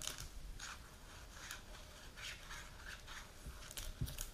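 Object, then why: Plastic jar filled with powder. A medium plastic supplement jar with a clear plastic lid and label, filled with powder, is held and turned while long pink nails tap and scratch it. Soft, bright scratchy bursts come and go over a low, steady rumble, with a sharper tap near the end.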